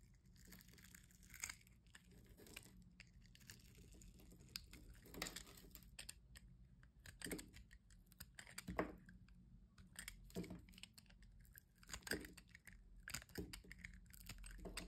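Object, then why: Solid bar soap cut with a blade. A solid white bar soap is scored into a grid and crumbled with a metal box-cutter blade, then a slab is sliced off. Quiet, dry, crunchy cutting and crumbling clicks come in quick bursts, with a few sharper cracks standing out over a low steady hum.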